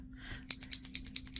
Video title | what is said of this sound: August 2022 VOLUME - Flipping for Fall - Art Anthology - Posca Pens and More | shake it until you hear a little ball going around inside kind of like a spray can